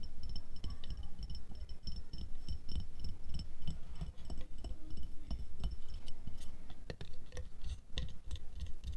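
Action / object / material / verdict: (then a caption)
tap / glass jar / glass / none. Long nails tap quickly on the sides of an empty, medium clear glass jar with a black lid lying on white fur, making a rapid, steady stream of light glassy ticks and clinks. Each tap is short and dry with almost no ring, over a soft low rumble.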